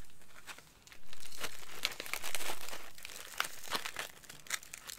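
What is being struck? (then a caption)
Plastic snack bag with crackers. A clear plastic snack bag of light crackers is held in both hands while fingertips and nails squeeze and crinkle it, shifting the contents inside. Bright, irregular crinkling and crackling rustles are heard, with sharp snaps and a couple of louder, sustained crinkle bursts.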